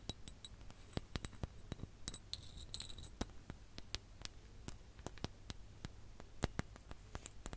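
A ribbed clear glass hourglass filled with orange sand, held over the mic, is tapped and scratched with long nails. Sharp, bright clicks and clinks come in a quick, uneven series, with a short high scratching passage midway, over a low steady hum.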